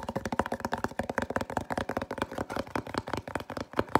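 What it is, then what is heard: Cardboard box. Fingertips and nails scratch and tap a small, hollow white printed cardboard box. The result is a rapid, steady run of short, dry, papery knocks and scrapes with a hollow midrange tone around 880 Hz. Each tap dies away almost at once.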